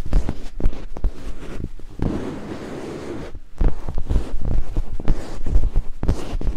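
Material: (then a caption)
Silicone. Two thin wooden picks held in fingertips scrape rapidly across white silicone binaural microphone ears, producing dense, low, muffled rubbing and thumping bursts. Midway the scraping eases into a quieter, steady rushing hiss before the fast, thudding strokes return.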